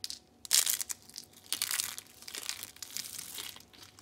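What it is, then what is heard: Dry soap sheets. Dry pink soap slices are crushed in a fist and fingers, with flakes piling up on a striped cloth. Bright, dry crunching and crackling come in bursts, loudest near the start and again in the middle, then fading to softer crinkles.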